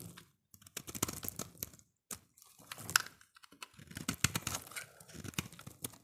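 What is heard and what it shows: A solid green soap bar held in the hand is carved and scraped with a utility-knife blade into curls and shavings. Dense, crisp, bright scraping and crackling comes in irregular bursts, with short pauses between runs of cuts.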